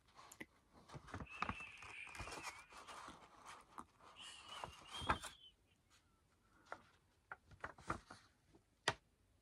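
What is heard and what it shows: Fingertips and medium-length natural nails tap and scratch along the top surface and edge of a thin, large, flexible sheet of light-coloured paper or card, held up and then laid flat. The first half is a dense, papery scratching and rustling with a squeaky, scraping tone. It thins out into sparse, crisp dry taps separated by quiet gaps.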